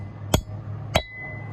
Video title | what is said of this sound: Restoring a Boat Trailer- Part 4 | you hear that tinny sound. That seal is now all the way in